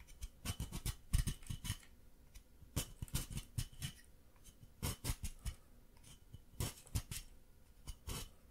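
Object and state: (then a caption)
Plaster excavation block being scraped. A solid white plaster excavation block, held upright in the hand, is scraped with a wooden stick while plaster dust falls onto the table. Quick, dry scratching strokes come in irregular bursts, each a short bright rasp with a dull low thump beneath and almost no ring. The hits are too many and too close together to count.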